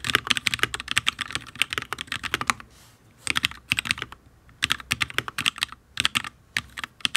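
Fingertips of both hands type in quick bursts on a full-size HyperX Alloy Origins RGB mechanical keyboard with Fire switches and ABS keycaps on a steel plate. The keystrokes make sharp, bright clacks with very short decay and almost no low end, and they stop in brief pauses between runs. The keyboard sounds solid.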